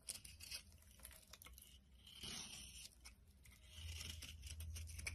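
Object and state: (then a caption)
Bar of soap being shaved. A utility knife blade scrapes and shaves crumbly flakes off the top of a solid oval bar of soap, cream-white inside with a dark green rim, held in the palm. Dry, bright scraping and crinkly tearing sounds come in quick, irregular strokes over a low, steady rumble, growing denser and louder toward the end.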